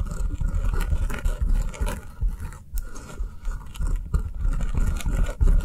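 A round, solid avocado-shaped foam kitchen sponge is tapped with long nails on the table, then picked up and held upright. Fast, uneven taps blend into a soft, scratchy patter with dull low thuds and a faint high crackle. Each tap dies away almost at once.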